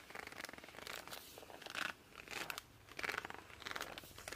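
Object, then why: Laminated cardboard board book. Both hands grip and rub the glossy laminated cover of a small children's board book, "I Love You Through and Through," made of solid, thick cardboard, using fingertips and palms for squeaky friction. Irregular bursts of bright, squeaky rubbing with a crinkly edge rise and fall, separated by quieter stretches of soft friction.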